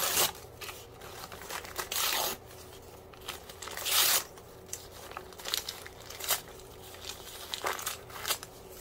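A soft white paper sheet is held in both hands while fingertips crumple and tear it. Bright, crackly crinkling and rustling come in irregular bursts, with a couple of longer, louder ripping tears among the shorter crinkles.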